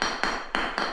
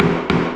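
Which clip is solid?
The first.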